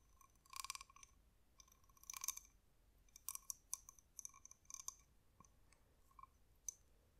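Long nails tap and scratch a glossy, spotted, palm-sized hollow cowrie shell with its toothed opening visible. The result is quiet, bright, clicky taps and short scratchy bursts in uneven clusters, with almost no low end and no ring after each touch.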